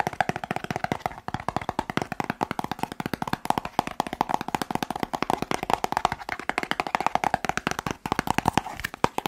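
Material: Cardboard.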